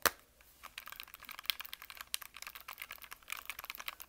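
A small yellow hard-plastic Nintendo Switch Lite, a hollow handheld game console held in both hands, has its casing tapped and its buttons pressed rapidly by fingertips. A sharp opening click gives way to an irregular, fast run of short, dry, typing-like clicks. The clicks are bright and thin, with almost no low end.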